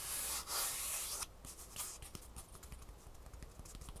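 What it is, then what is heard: Foam shoe insole with fabric top. Long nails rub and scratch the textured fabric top of a green foam shoe insole with a gray foam underside. A loud, bright scratching hiss fills the first second, then gives way to quieter, quick, irregular scratches and light taps until the end.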